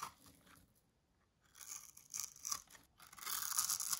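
A small metal blade scrapes across a blue oval bar of dry solid soap, pre-scored in a grid and held in the palm, shaving off tiny cubes that fall away. The sound is a dry, bright, crunchy scraping in irregular bursts, with a near-silent pause early on and growing louder and denser toward the end.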